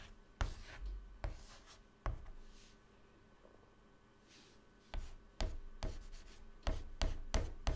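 Fingertips hold a piece of white chalk and write letters on a flat black chalkboard panel. Ten sharp taps of the chalk landing on the board are heard, each followed by a short, dry scratching stroke. The strokes come in two bursts separated by a quieter pause.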